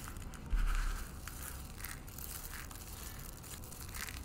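A bare hand with painted fingernails scoops handfuls of dry, brittle green soap shavings and flakes from a pile on a white wooden table and crushes them in the fist. A loud crunch bursts out near the start, then settles into steady, softer crackling and crumbling over a low, constant hum.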